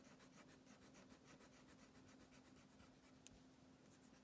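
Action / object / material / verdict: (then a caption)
scrape / wax crayon on thin paper over a wooden table / paper / none. A red Twistables plastic crayon held in the fingertips rubs back and forth across a thin printed paper coloring page lying flat on a wooden table, coloring in the bathtub. The quiet, steady scratchy strokes have a bright, papery texture, with a low, faint, constant hum underneath and one brief sharp tick near the end.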